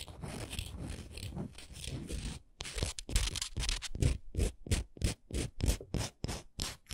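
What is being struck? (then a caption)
Textured wooden ornament. Long nails scratch and tap a textured wooden ornament. A dense, continuous scratching opens the clip, then breaks into a steady run of separate, crisp scrape-taps at about three per second, with bright rasping edges over a soft low thump.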